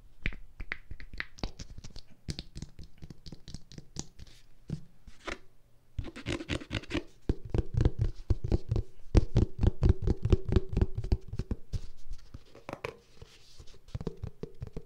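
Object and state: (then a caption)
Plastic lotion tube. A white plastic lotion tube held close to the microphone is scratched and tapped by long nails. Quick, irregular clicks and dull taps come about four per second, mixed with scratchy rubbing. The sound is mostly low and thumpy, with short, dry hits that don't ring.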